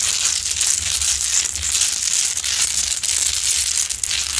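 Long acrylic nails aggressively claw and scratch the rough surface of a large, solid rock-salt Himalayan salt lamp, heard close-up. The result is a steady, dense, bright crunching and crinkling scrape with fast overlapping strokes and no ring after each one, over a faint low hum.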